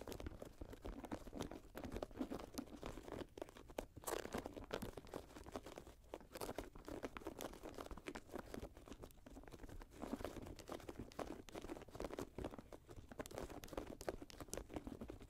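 Long nails scratch and tap the suede and mesh upper of an empty grey Jordan high-top sneaker lying on a lap. The result is a quiet, steady stream of dry, crunchy scratches and soft crinkling taps, with a faint low rumble underneath.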